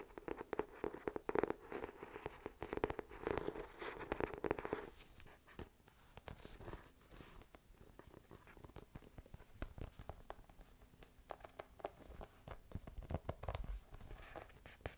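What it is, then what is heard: Hardcover journal. Fingertips and nails tap rapidly on the embossed cover and along the page edges of an ornate brown-gold hardcover journal with a thick, solid page block. The taps are dense and quick, with a hollow tone that rings for the first five seconds. After that they turn quieter, drier and more scratchy.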